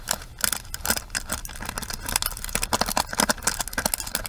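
Long nails tap and scratch across the bristle side and plastic rim of a pink plastic paddle hairbrush. The result is a rapid, uneven run of crisp, bright clicks and dry scratchy rasps that die away almost instantly, centered around 1.4 kHz with little low end.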